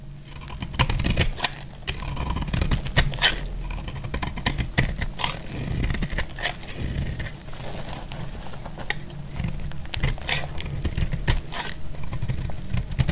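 A utility knife blade cuts into a dry, solid teal-green bar of soap held in the hand, chipping off crisp pieces. The result is a dense run of dry crackling scrapes and sharp snaps, each short and quickly damped, with a low, thick body under bright crisp edges.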